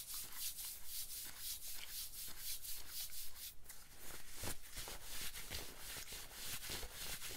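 A hand scratches and rubs a worn light-wash denim jacket with fingertips and nails, giving a steady run of rough, bright scratching strokes over a low rumble.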